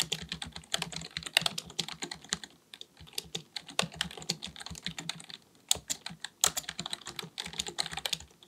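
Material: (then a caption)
Plastic. Fingertips of both hands type rapidly on a black full-size plastic computer keyboard resting on a desk. Bursts of short, dry, bright key taps run in quick succession, with brief pauses between runs.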